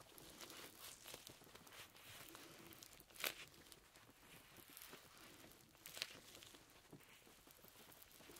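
Red perforated leather gloves worn on both hands have their fingers rubbed, stretched and squeezed against each other. A steady, bright crinkling of rubbing and creaking leather runs throughout, broken by two sharper, louder creaks.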